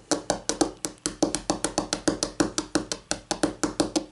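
Long painted nails tap quickly on a flat, solid white laminate tabletop, struck with the fingertips and nail tips of both hands. About 25 short, dry clicks come in a steady rhythm, each with a hollow knock around 305 Hz and a bright nail tick on top. Each tap dies away almost instantly.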